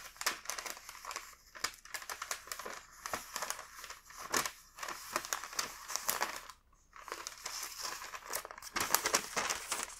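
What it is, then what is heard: Wax paper sheet, crinkled. A single thin sheet of printed, patterned wax paper, about 25 cm wide, is held in both hands by the fingertips and bent, flexed and rubbed. It makes dense, bright, crisp crinkling and crackling with quick dry snaps. A brief lull comes around the middle before the crinkling resumes.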